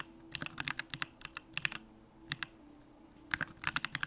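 Fingertips type continuous key presses on a Bakeneko65 65% mechanical keyboard with a hollow aluminum case, Durock lavender switches and pink plastic keycaps. About 21 short, bright clacks with almost no ring come in quick bursts, separated by brief pauses, over a faint low hum.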